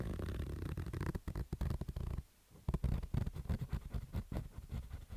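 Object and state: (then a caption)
Fabric baseball cap being scratched. Fingernails scratch along the lower edge of a black stitched fabric baseball cap, making rough, low, rumbling scratching strokes in quick bursts. There is a brief pause before the scratching resumes.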